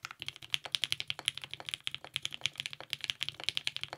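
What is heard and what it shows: A compact TGR 910 RE mechanical keyboard with lubed 55g Nixie switches, purple GMK ABS keycaps and a polycarbonate plate is typed on continuously with the fingertips of both hands. About 36 quick, crisp keystrokes sound as bright, short clacks with a tonal ring near 3.3 kHz and almost no low end. Each one dies away instantly.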